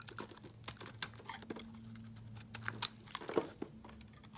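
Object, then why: Bar of soap cut with a knife blade. A hand-sized solid white soap bar with a glitter-coated rim is carved and scraped with a utility knife blade, and the shavings fall onto a mat. Quiet, bright crinkly scraping runs throughout, broken by sharp clicks and crunches, with a low hum steady underneath.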